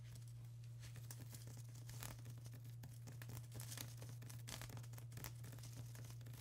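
Long acrylic nails tap and scratch across a flat sheet of plastic bubble wrap, making quick, dense crinkly scratches with bright, papery crackles. A steady low hum sits underneath the soft, close clicking throughout.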